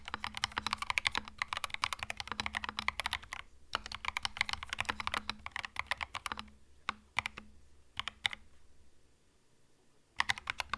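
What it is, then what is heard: Plastic mechanical keyboard. Both hands type with their fingertips on a white 65% mechanical keyboard with plastic retro Mario keycaps and a hollow plastic case. Quick runs of bright, clacky keystrokes come in two bursts, then thin to a few isolated presses and a brief quiet before the typing picks up again at the end. A faint low hum sits steadily underneath.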